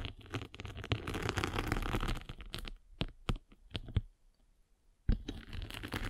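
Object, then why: Foam sanding sponge with abrasive surface. A spiked derma roller is rolled across the abrasive top of a flat gray and blue foam sanding sponge held in the palm. It makes a dense, crackling scratch with a low rumble, then thins to scattered sharp crackles and falls nearly silent for about a second. The rolling resumes with a loud crack and steady scratching.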